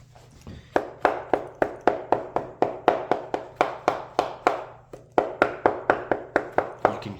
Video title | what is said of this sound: S1E1: Holdfast Insoles - Part 1/3 | If it sounds hollow when you're hammering, that's because there's air between the insole and the last and you can hear it kind of clapping together.